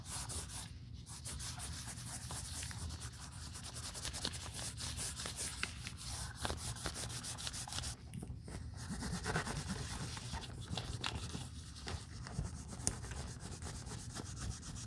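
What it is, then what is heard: Leather handbag being rubbed. A cotton pad held in tweezers by gloved hands is rubbed over the inner leather under the flap and over the flap itself of an opened black leather Chanel 2.55 Reissue flap bag during restoration. The result is a steady, soft scrubbing rasp with a low rumble and a bright, airy hiss, broken only by a brief dip in level near the middle.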